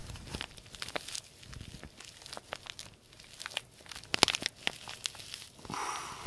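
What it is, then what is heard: Paper tea bag envelope being crinkled. A small white-and-green printed paper tea bag sachet, held in both hands, is crumpled and crinkled with the fingertips. It makes a quiet stream of bright, dry crackles and sharp little snaps that rise to a louder crunchy burst partway through. The clip ends on a brief, steady rustling hiss.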